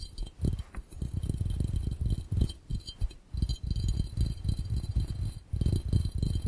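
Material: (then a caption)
Glass. Fingertips of both hands rapidly tap the round glass base of a clear, empty glass fishbowl. The taps come in a fast, continuous patter of dull, low thumps with almost no ring, and faint bright glassy tones sit above them.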